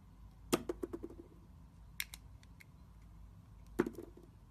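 A metal utility-knife blade scrapes and scores the surface of a solid, rectangular, hand-sized translucent glycerin bar soap with green and red swirls, held in the hand. Three bursts of short, crisp scraping clicks stand out over a quiet background, each with a bright attack and a brief hollow tone. The audio is 8D-processed.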